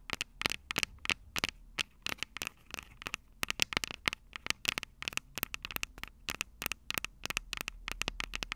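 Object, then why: Metal microphone capsule grilles tapped with fingernails. Long purple nails scratch and tap the metal microphone capsules of an upright Tascam DR-05 recorder. Dozens of sharp, dry, bright clicks and scrapes come in rapid, uneven bursts, centered around 2.6 kHz with almost no low end. Each tap stops instantly with no ring.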